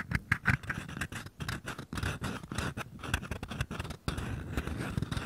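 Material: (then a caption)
Paper. Fingertips and short nails tap and scratch the walls of two identical small, empty, hollow paper cups held sideways. Quick, dry papery taps and scrapes come in an irregular stream, with a hollow low thump under each tap and a faint resonance around 1.6 kHz, each sound dying away almost instantly.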